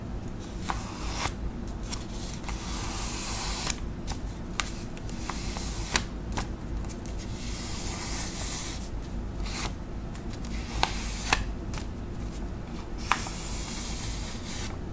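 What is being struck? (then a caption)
Paper envelope. A flat white paper envelope is rubbed and scratched by long acrylic nails, giving a steady papery scraping hiss over a low rumble. Brief sharp clicks break through here and there.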